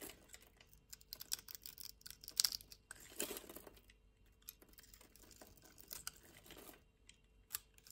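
A solid cream-white rectangular bar of soap, held in a hand with long nails, has its surface scraped and cut with a metal knife blade. Quiet, bright, crisp scraping and crunching comes in quick bursts of short ticks, with a longer rasping scrape in the middle.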